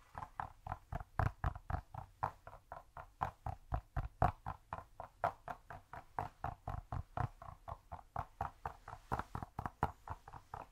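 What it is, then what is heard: Cork cube. Rapid tapping on a cork cube gives a steady stream of short, dull knocks, about four per second, with uneven timing and loudness. Each tap is a soft, muffled thud with a woody midrange tone and no bright high end. It dies away almost instantly.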